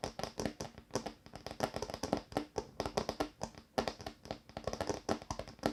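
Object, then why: Wooden table top. Tapping on a wooden table top makes a quick, irregular run of dry, short knocks with a low woody body and a brighter click on each hit. The taps come in clusters with brief pauses between them, and each one dies away almost at once.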